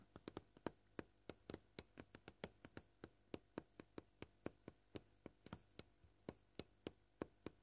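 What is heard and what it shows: A flat white cutting board, probably plastic given its fine knife scratches, lies as a solid slab on a table and is tapped gently with short purple-painted fingernails, sometimes fast and sometimes slow. About thirty quiet, dry clicks with a slight mid-range knock come through, each dying out at once with no ring, over a faint low hum.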